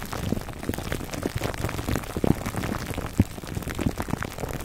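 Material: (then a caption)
Plastic film. Fingertips and short nails of both hands scratch and rub clear plastic cling wrap stretched tightly over a dome-shaped black foam microphone windscreen, close to the mic. The result is a dense, low, muffled crackling and crinkling, full of rapid overlapping taps and rustles with a few sharper pops.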